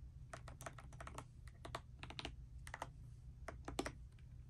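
A pastel dust silver D84 mechanical keyboard with plastic keycaps, resting on a bedspread, is typed on continuously with fingertips and long nails. Quick, bright clicky keystrokes come in irregular bursts over a steady low hum.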